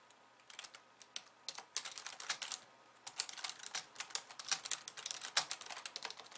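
Long painted nails on both hands type on a pink low-profile plastic computer keyboard with white keys, resting on a wooden desk. Quick, bright clicks and taps come in irregular bursts, with a short pause near three seconds. Each keystroke dies away almost at once.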